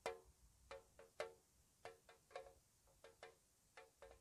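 Long nails tap the sides and bottom of a small, hollow, square, white-painted metal tea tin in a slow, uneven rhythm. Eleven light, distinct taps each give a short, bright metallic ping with a tonal ring near 460 Hz that fades quickly.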